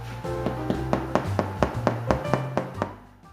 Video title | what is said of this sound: More Food! Episode 2 part 1 BREAD | you'll know they're ready when you hear this hollow sound on the bottom